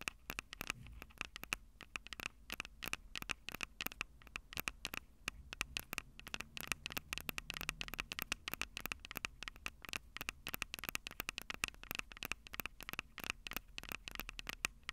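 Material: Metal.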